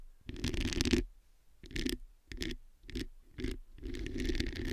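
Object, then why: Metal mesh microphone grille. Long acrylic nails scratch and tap the hollow metal mesh head of a black studio microphone. Six close-miked bursts of raspy scratching carry a strong low-mid rumble and a bright hiss. Short quiet gaps separate the bursts, and the final burst runs longest.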